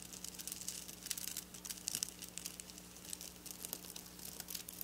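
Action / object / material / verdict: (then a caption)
scrape / sequin fabric scratched and tapped with fingernails / plastic sequins / none. Long black nails scratch and tap across silver sequin fabric, producing dense, bright, crinkly clicking and rustling with many quick, dry ticks. A steady low hum runs quietly underneath the whole time.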